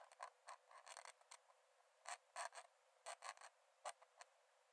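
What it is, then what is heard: Paper sketchbook page being drawn on with a pen. A metal nib in a wooden dip-pen holder scratches long lines onto the cream paper page of an open sketchbook lying flat on a dark desk while drawing. Around fifteen short, dry, raspy strokes come in irregular bursts, bright and thin with no low end, over a faint steady hiss.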